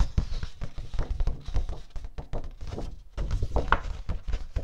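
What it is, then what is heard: Cardstock sheet. Fingertips tap and rub the surface of a single thin, flat, letter-size sheet of light blue cardstock or heavy paper, held upright in both hands close to the microphone. A quick, irregular run of dull, low thuds sounds with soft rubbing in between, with almost no high end. Each tap dies away almost instantly, and the run briefly quiets near the three-second mark before picking up again.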